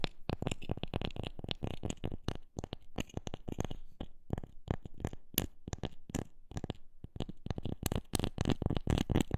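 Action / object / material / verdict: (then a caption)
tap / wooden object / wood / none. A wooden object is tapped with many quick, dry knocks in an uneven rhythm, bunching into fast runs and then spacing out. Each tap is short with almost no ring, its body low and dull around 220 Hz with a faint bright click on top.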